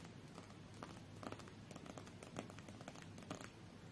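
A small, solid stack of coated paper UNO cards is held in both hands while long nails and fingertips scratch and tap along the deck's edges and face. The result is a quiet, steady, crinkly scratching over a low rumble, broken by brief, soft tapping clicks that die away almost at once.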